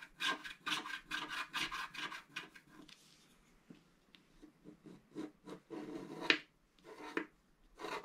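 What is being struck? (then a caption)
Scratch-art card with black coating over foil, wooden stylus. A wooden stylus scratches hatching lines near the brush on a flat scratch-art card (black coating over colored foil) lying on a table. A quick run of bright, raspy strokes gives way to sparser, lighter scratches with one sharper scrape. At the end the hand shifts position.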